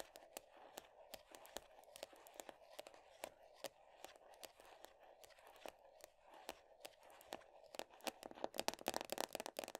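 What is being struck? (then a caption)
Plastic cosmetic tub with lid. Long nails tap and scratch the printed top of the black lid on a medium round plastic body butter tub. Quick, irregular, sharp clicks ring out over a steady crinkly scratching with a midrange hum, all at a quiet level. Near the end the taps turn faster and louder, crowding into a bright, dense flurry.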